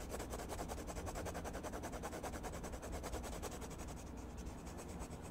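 A red colored pencil rubs and scratches rapidly back and forth across a page of a spiral-bound paper sketchbook lying flat, shading a mushroom stem. The result is a steady, raspy scratching in quick repeated strokes, with the pencil staying on the same page throughout.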